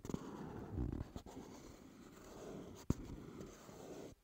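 Fingertips and short nails tap and scratch the front face of a hollow, rectangular dark teal cardboard CK Free perfume box resting on a wooden table. The sound is a soft, dull, low-pitched scraping rustle with a few quick knocks, including a sharp one near the end. It stops abruptly.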